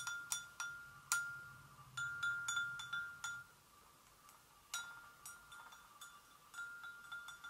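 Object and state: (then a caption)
Porcelain gravy boat. Long acrylic nails gently tap the rim and sides of a hollow, empty white porcelain gravy boat resting on a stone surface. Fifteen light taps each ring out as a clear, chime-like tone around 1.4 kHz with bright overtones, fading quickly, with a brief quiet pause midway.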